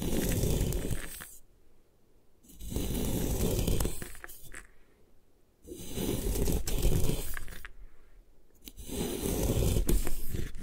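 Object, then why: Compressed chalk block scraped by a metal blade. A metal putty knife scrapes along the edge of a solid white compressed gym chalk block held in a long-nailed hand, cutting off crumbly chalk slabs. Four gritty, low, crunching scrape passes are heard, each separated by a brief near-silent pause.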